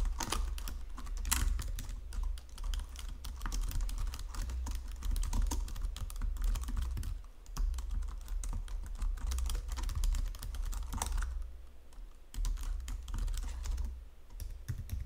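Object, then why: Plastic computer keyboard. Fingertips and long nails type on a white plastic Logitech full-size keyboard resting on marble, producing rapid, continuous key tapping and clicking. A steady low hum sits under the typing throughout, which eases off in a few short pauses before resuming.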